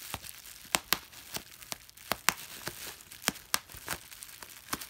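A large flat sheet of clear plastic bubble wrap, made of small air-filled bubbles, is held in both hands while fingertips and a thumb press and pop the bubbles one by one. Fourteen sharp, bright pops snap out unevenly over a soft, steady crinkling of the plastic film.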